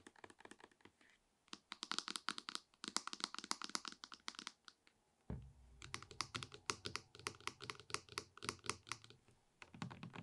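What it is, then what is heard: Plastic shampoo bottle. A medium dark plastic Gliss shampoo bottle, hollow and apparently full, is rapidly tapped with long red nails on its body and cap. Quick bursts of bright, dry clicking taps come with short pauses between them. A low thump lands midway, and the last taps sound duller and more muffled.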